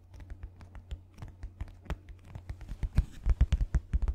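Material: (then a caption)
Paper. A white paper sheet is rubbed and scratched with fingertips and nails, giving a rapid, irregular run of short, dry scratching taps. The taps get louder and heavier toward the end, with most of their energy in a low thump.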